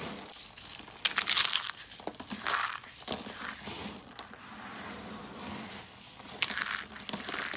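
Cream and dark brown rolled dry soap curls are held in the hands, crushed, and the flakes crumbled in the palms. The result is bright, dry crackling crunches that come in sharp bursts, with softer crinkly rustling between them.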